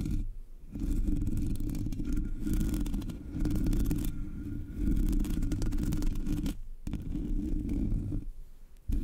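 Long nails scratch the sides of the hollow black metal mesh grille of a Blue Yeti microphone. The result is a dense, low, rumbling scrape concentrated in the bass, running almost continuously, with brief pauses near the start, around the seven-second mark, and just before the end.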